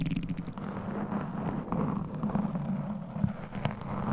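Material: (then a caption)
Foam. Very long pointed acrylic nails from both hands scratch and tap a single rounded foam cover on a microphone, which is soft and hollow. The result is a muffled, continuous low rumble with a steady scratching texture, broken by occasional soft, dull taps and a few brief brighter crackles.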